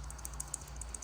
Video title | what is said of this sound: ￼Chrysler 3.6 pentastar V6 rocker arm failure, tips and tricks. | you like shake it you hear it moving back and forth